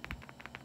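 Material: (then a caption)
Stone. A small, not perfectly round stone amulet with another stone loose inside is shaken, giving four quick, dry rattling clicks with bright midrange energy. Each click decays almost at once over a low background hum.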